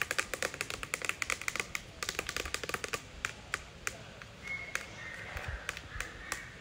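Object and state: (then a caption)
Plastic sign board tapped. Fingertips and medium nails tap and scratch across a flat, thin white rigid plastic or acrylic sign reading "TICKET HOLDER ONLY", mounted on a granite wall. Rapid, crisp, bright clicks come in dense bursts for about four seconds. They thin out into sparser taps, with a faint scratching sound near the end.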